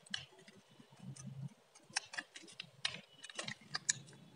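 A metal blade scrapes and carves crisp strips from the face of a solid blue bar of varnished dry soap held in the hand. The result is a quiet series of short, dry, bright crackling clicks and scratches, each dying away almost instantly, over a faint low rumble.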